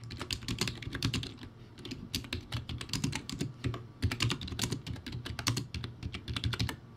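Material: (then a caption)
Plastic. Fingertips type steadily on a low-quality, backlit plastic typewriter-style keyboard with round white plastic keycaps. The result is a fast, uneven run of short clacking keystrokes, each with a hollow low thud and a bright plastic tick that dies away almost at once.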